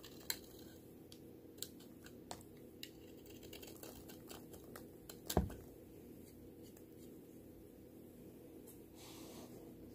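A small yellow-handled knife scrapes and shaves thin curls from a solid, hand-sized pink bar of soap held in one hand, over a tray of soap shavings. Short, crisp scraping strokes stand out against a quiet low hum, with one louder cut near the middle.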